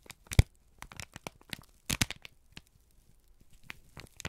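A single thin, crumpled sheet of brown kraft paper is held in both hands and squeezed and crinkled with the fingertips and thumbs. Bursts of dry, crisp crackling and crunching come in irregular clusters, with one sharp, louder crunch near the start and a dense patch of crinkling midway. The paper noise spreads from a low thump up into bright, high rustle.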